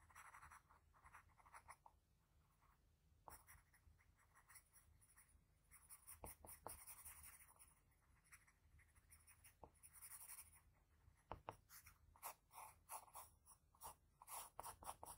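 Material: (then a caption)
Paper. A sharpened blue graphite pencil, held in the fingers, shades the nose of a drawing on a flat sheet of white drawing paper resting on a hard surface. The tip makes quiet, bright scratching strokes in quick bursts, with a few sharper taps between them and near-silent pauses.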